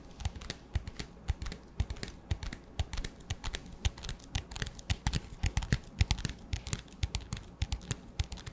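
Fingertips and nails tap quickly on the sides and black lid of an empty, transparent, hollow clear plastic disposable cup. The result is a rapid, uneven run of short, dry clicks, each a dull low knock topped with a bright tick. They stop instantly with no ring.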